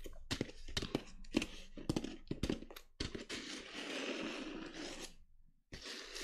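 A small black glitter-coated clutch bag, held by its metal handle, is tapped and scratched across its glitter surface with long nails. A quick series of sharp, dry taps in the first three seconds is followed by a steadier rasping scratch with bright, gritty texture. The scratching stops briefly and then resumes.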